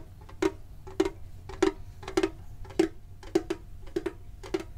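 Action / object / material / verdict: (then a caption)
tap / printed sheet-metal tin box / tin plate / none. A medium-sized hollow printed metal Pokemon card tin is held and tapped with the fingertips and short nails. It gives a slow, uneven series of dull, hollow taps, some in quick pairs, each with a low-mid tone near 390 Hz and a very short ring that dies away almost at once.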